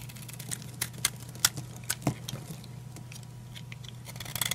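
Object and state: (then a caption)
Dry soap bar being cut. A utility knife repeatedly cuts and scrapes brittle pieces off a solid green oval bar of dry soap held in the hand. Short, crisp, bright snaps and scratchy scrapes come at an irregular pace over a steady low hum, with a quicker flurry of small crackles at the end.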